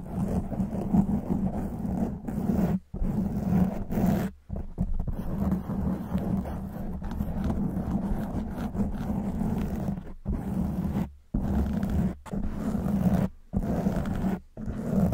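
Long white acrylic nails on both hands scratch and rub a soft, porous black foam windscreen fitted over the hollow grille of a silver condenser microphone. The result is a dense, muffled, rumbling scratch with a low hum-like tone around 195 Hz. The scratching comes in continuous bursts broken by brief silent pauses.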